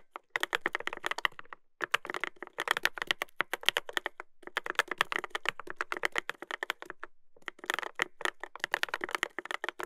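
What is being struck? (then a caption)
Mechanical keyboard, plastic keycaps on a metal plate. Fingertips type continuously on a Dolphin 2021 mechanical keyboard with a brass plate and plastic keycaps, producing rapid, sharp clacks that die away almost instantly. The bursts of typing break for short pauses near 1.7, 4.3 and 7.3 seconds, and the sound is mostly bright and clicky, centered around 3 kHz, with very little low end.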